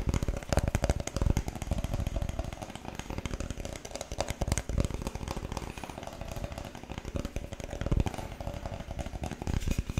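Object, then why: Thin wooden board. A flat, thin, light-coloured wooden board, about tablet-sized and solid, is held up in both hands and tapped and scratched with fingertips and nails across its face and edge. The result is a dense, uneven run of soft, muffled taps and low scratching, dominated by deep, woody thuds with quick decay.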